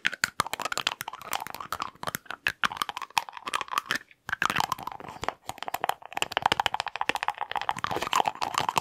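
Fingers and nails rapidly work the lid of a small dark glass jar with a white label, held in both hands close to the mic, and tap the jar. The result is a fast, dense stream of crisp, dry clicks, crunches and crackles centered in the upper mids with bright edges and almost no low end. There is a brief pause around the four-second mark.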